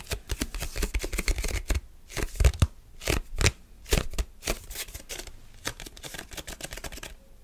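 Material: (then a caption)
Plastic. Fingertips and short nails rapidly grip, tap and scratch the surface and edges of a rectangular translucent red plastic food container lid held up in the air. The result is a fast, chaotic stream of dry plastic clicks, crinkles and scrapes with soft low thumps, each sound dying away almost instantly.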